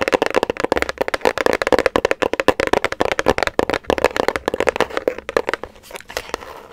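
Long nails tap and scratch a small, hollow grey-white paper gift bag with circle prints and a rope handle, held in one or both hands. A rapid run of crisp, papery taps carries a midrange tone near 500 Hz, then eases into softer, thinner scratching toward the end.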